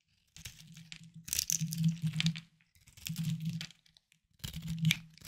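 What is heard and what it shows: A small knife scrapes and carves a hard, solid, palm-sized bar of white soap held in one hand, and the shavings fall onto a wooden board. Three bursts of crisp, crunchy, crackling scraping sit over a low steady hum, with bright gritty texture and short pauses between strokes.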